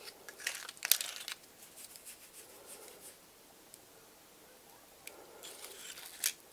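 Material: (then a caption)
Woody scales. Fingertips and nails scratch and flick across the woody scales of a medium-sized dry pine cone with white-painted scale tips, held in one hand. The quiet, bright, dry crackling and scratching comes in short bursts, with sharper flicks near the start and close to the end, separated by near-silent pauses.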